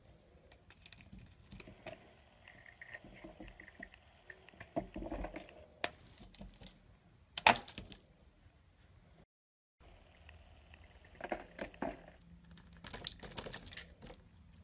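A solid beige soap bar is cut with a utility blade, flakes piling up as it goes. Quiet, dry scraping and crisp little cracks crumble along in bursts, with a sharper, brighter snap near the middle, a brief silent gap, then more shaving and crackling.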